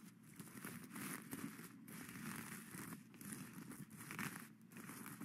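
Plastic skeleton-hand grabbers scratch and flip the sequins back and forth on a sequin-covered witch hat crown lying flat on a satin brim. A steady, dense crinkling and crackling rustle swells and dips throughout, with bright scratchy texture over a low grainy body.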